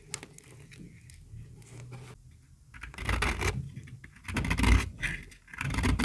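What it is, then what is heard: Very dry bar soap. A metal utility-knife blade shaves a small, solid, pink bar of dry soap held in the palm, and the flakes fall into a pile. Soft, dry scraping builds into louder, rough, crumbly bursts of shaving, with a grainy low body and brighter scratchy edges.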